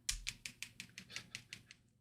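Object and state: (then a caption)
Paint bottle with tiny mixing balls rattling inside. A newly arrived paint-mixing bottle is shaken, rattling the really tiny metal mixing balls inside. About ten quick, quiet, bright clicking rattles come in a steady rhythm, each dying away almost at once.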